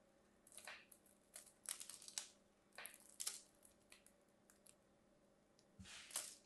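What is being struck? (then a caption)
Bar of soap. A hand-sized, solid orange-and-white striped bar of soap, held in the hands, is carved with a thin metal craft blade that scrapes off crumbly flakes, which pile on the bar. About a dozen quiet, crisp, bright scraping strokes are heard, each a short airy rasp that stops almost at once, with near silence between them.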